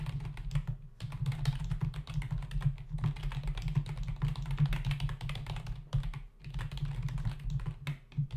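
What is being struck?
Plastic computer keyboard.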